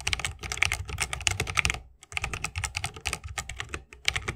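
Fingertips of both hands type fast on a 60% mechanical keyboard with plastic keycaps on Holy Panda tactile switches, set in a solid bamboo wooden case with RGB lighting and resting on a wrist rest. A rapid stream of bright, crisp clacks with short thocky low ends pauses briefly near the two-second mark, then resumes. Each keystroke is dry and dies away almost instantly.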